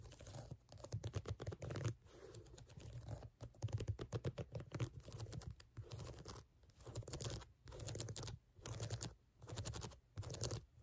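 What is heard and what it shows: Fingernails rapidly scratch and tap across the brown ridged rubber outsole of a sneaker. Dense bursts of quick, dry clicking and scraping come in short runs separated by brief pauses, with a low thudding body beneath the bright scratchy texture.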